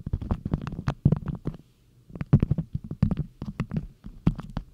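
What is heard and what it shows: Long nails pinch, scratch and rub a stiff printed beeswax cotton food wrap folded into a cone, crinkling the waxed cloth close up. Quick, dry crackles and taps come in dense bursts with a low, muffled body and brief bright clicks. A short quiet pause falls midway before the crinkling resumes.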